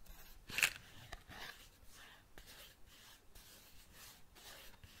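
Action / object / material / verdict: tap / cardboard matchbox / cardboard / none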